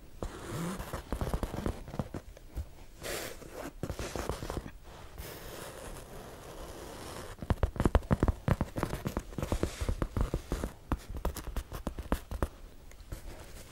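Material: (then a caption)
Faux leather. A medium black faux leather handbag with metal studs, hollow and held up close to the mic, is scratched and tapped with long acrylic nails. Quick, irregular dry taps and soft scratching rustles alternate, with denser bursts of sharp clicks in the second half.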